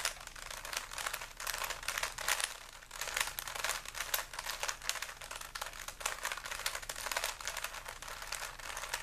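A small, solid plastic 3x3 Rubik's cube with stickers is held in both hands while the fingers keep twisting its layers. The result is a steady stream of bright, dry plastic clicks and scraping rattles with almost no low end.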